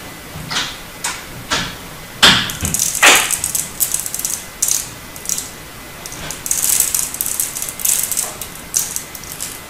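A turquoise bar of solid hard soap, held in both hands, is scored and scraped with a snap-off utility knife blade, and small chips flake off. Crisp, bright scratching strokes come at an irregular pace, some short and sharp, others longer and rasping, over a quiet background.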